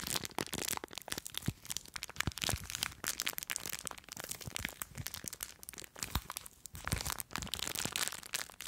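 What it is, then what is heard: Plastic bag of foam beads. Long nails scratch and crinkle a small clear plastic bag full of blue foam beads. A dense, continuous run of bright crinkling and crackling is heard, made of many sharp, dry snaps with no ring.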